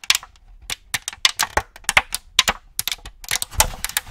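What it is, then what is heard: Empty clear plastic tray crinkling. An empty clear plastic cookie tray is held in both hands and swung to one side while fingers squeeze and tap it. It crinkles in a rapid series of sharp, bright clicks and crackles that die away almost instantly, with little low-end body.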